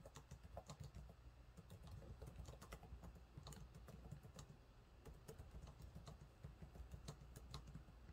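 Fingertips type steadily on the low-profile plastic keys of a silver laptop keyboard, producing a quick stream of soft, short taps with bright clicky edges. The sound sits over a constant low hum, and each tap dies away almost immediately.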